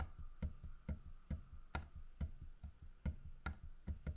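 Fingernails tap on a large, solid carved wooden bear figurine, striking both the carved fish and the bear's body. Nine short, dull knocks sound at an uneven pace, each heavy in low frequencies and dying away almost instantly. A faint steady tone sits in the background.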